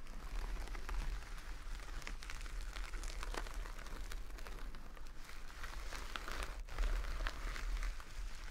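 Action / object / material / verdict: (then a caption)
scrape / burlap sack of rice / burlap / none. Long nails scratch across a full jute burlap bag of rice resting on a table. A steady, dry, crinkly scratching with faint grainy crackles runs throughout over a low, constant rumble, swelling slightly near the end.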